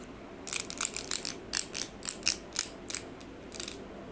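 Long pink coffin-shaped acrylic fake nails are held up away from the microphone and tapped and clicked against each other by the fingertips of both hands. The result is fast, irregular nail-on-nail tapping: a quick series of dry, very short, bright clicks over a faint low background hiss.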